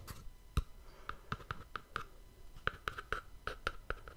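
A small, hollow white cardboard gift box with a black-edged ribbon is held in one hand and tapped and scratched with the fingertips. About fifteen quick, dry taps with a hollow mid-range knock are heard, with soft scratching between them. Each tap dies away almost at once.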